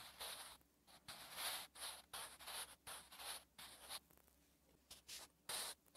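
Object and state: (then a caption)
Pencil writing on notebook paper. A sharpened wooden graphite pencil is drawn across a thin, flat lined page of a spiral notebook while writing Korean letters. Short bursts of dry, bright scratching come in quick, uneven strokes separated by brief pauses.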